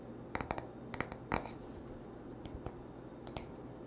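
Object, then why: Wooden paddle hairbrush back. Short nails and fingertips tap the smooth wooden back of a paddle hairbrush, giving ten quick, crisp taps in loose clusters. Each tap is a dry, woody click that dies away almost at once over a quiet, steady background hum.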